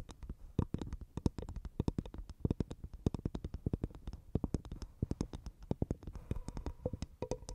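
Long nails rapidly tap and scratch a dry, hollow half coconut shell with a fibrous husk, which is placed over the microphone. Dozens of quick, dull, hollow knocks with a deep low body stop almost instantly, mixed with brief bright scratchy clicks. Near the end, a faint ringing tone appears between the taps.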